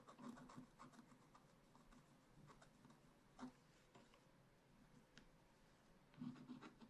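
A wooden stylus scratches the coating near the bottom of a black wax-coated scratch-art page in a spiral-bound pad. It makes a quiet, steady, dry scratching with a low rasp, broken by a few short, sharper strokes. Louder scrapes come near the middle and at the end.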